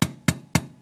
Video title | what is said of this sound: A New iPhone, PayPal Lights a Beacon | it's hard it's like a hard plastic